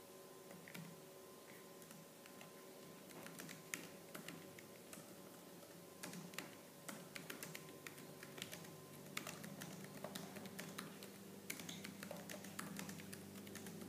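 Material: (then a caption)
Plastic. Fast typing on a laptop keyboard with black plastic keys, struck with long lavender-painted nails and fingertips, starting with one hand resting near the touchpad before both hands type. Quick, dry plastic clicks and taps patter irregularly over a steady low hum, growing denser as both hands join in.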